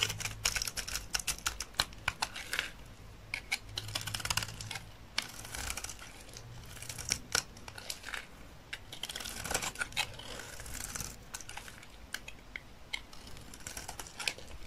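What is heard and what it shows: A solid, dry olive-green soap bar held in the hand is cut and shaved with a utility knife blade. It makes a steady run of quick, dry, bright crackling and scraping clicks, with short crisp bursts as the blade bites and flakes come away. A faint low hum sits underneath.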